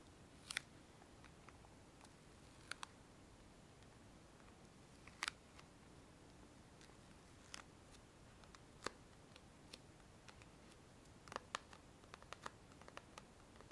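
A small hollow cardboard gift box with a swirl print and a satin ribbon bow is held in both hands and tapped with long fingernails. Sharp, dry, bright clicks come at irregular intervals, with a cluster of quicker taps near the end, over a quiet, low background hiss. Each tap dies away almost instantly.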